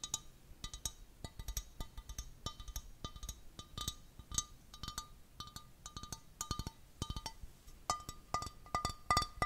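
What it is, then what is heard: Empty glass vase. A small, clear, textured glass vase, hollow and empty, is held close to the microphone and tapped rapidly with fingertips and nails. The taps make short, bright clinks that ring briefly around 1.2 kHz over soft, dull thuds from the fingers.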